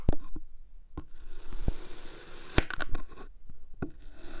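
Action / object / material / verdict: scrape / kinetic sand cylinder cut with a metal blade / kinetic sand / none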